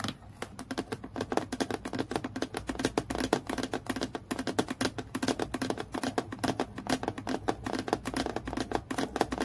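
Long fingernails tap quickly along the edge and surface of a clear acrylic plastic clipboard with a clip, lying flat. A rapid, steady stream of short, dry clicky taps with a light scratchy texture, each decaying almost instantly.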